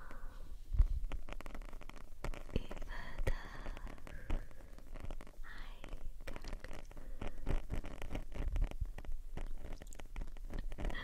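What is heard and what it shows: Long nails on both hands scratch the black foam windscreen of a RØDE shotgun microphone, a soft porous cylinder. The result is a dense, continuous run of close, muffled crackling and rubbing that sits mostly in deep, rumbling low tones, with a few louder scrapes standing out.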